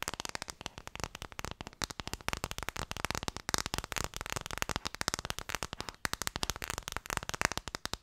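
Fingertips tap quickly on an Ideal of Sweden phone case, making a dense, continuous stream of short, crisp clicks. Each tap is dry, bright and dies away almost instantly, with a steady, fast rhythm throughout.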